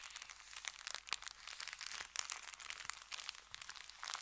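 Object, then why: Kraft paper bag. Fingertips rub and press across an empty, folded brown kraft paper bakery bag resting on felt. The result is a dense, continuous run of bright, crisp crinkles and crunches with sharp peaks and almost no low end. It stays close and dry throughout.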